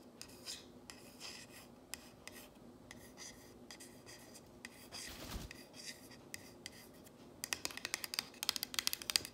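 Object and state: Painted wooden sign, solid.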